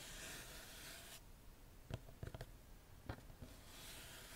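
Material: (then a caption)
Cardboard. Long nails scratch a small, hollow printed cardboard gift box with a soft, bright rasping, then tap its lid and sides in a few sharp, dry clicks. The scratching fades out and returns quietly at the end.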